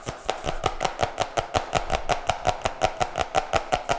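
A flat, solid, medium-sized cardboard notebook with a colorful printed glossy cover that looks laminated is held upright near the mic and tapped quickly with fingertips and nails. About 22 short, dry taps come in a steady, fast rhythm, each with a hollow midrange knock near 730 Hz and a crisp, bright click that dies away almost at once.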